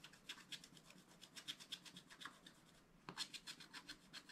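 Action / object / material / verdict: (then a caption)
scrape / scratch-art paper page scraped with a wooden stylus / coated paper / none. A wooden stylus scratches stripes into the zebra and the surrounding ground area on a flat scratch-art card page in a spiral book. Quick, bright, raspy strokes repeat in a steady rhythm, pause briefly just before the three-second mark, then resume with a slightly louder stroke.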